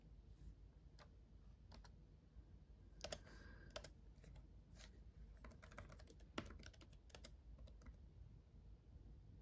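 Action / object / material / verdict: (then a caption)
tap / plastic laptop keyboard keys / plastic / none. Fingertips of both hands type on a black laptop keyboard with red backlit plastic keys. Soft, quick plastic clicks with bright tops come in uneven bursts, a few louder taps standing out, over a steady low background rumble.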